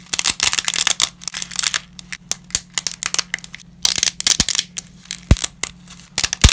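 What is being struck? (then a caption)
Uncooked lasagna pasta pieces. Small, brittle pieces of uncooked lasagna pasta are snapped between black-gloved fingertips over a scattered pile. The result is a rapid series of sharp, dry, bright cracks and crunches that fade almost instantly, with a faint steady low hum underneath.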